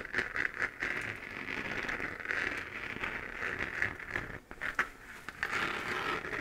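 Long, dark-painted nails scratch the side of a hollow, lit 3D-printed plastic moon lamp, a sphere with raised crater relief. The result is a steady, dry, crackly scraping concentrated in the upper mids around 1.7 kHz, with bright ticks, almost no low end, and short bursts of sharper scratches.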